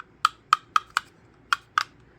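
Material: Plastic.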